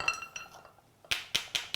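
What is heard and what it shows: Two closed, live clams are knocked together to check that they are fresh and edible. Each knock gives a hard, solid, bright click with a very short ring, not a hollow sound, so the clams are alive and good to eat.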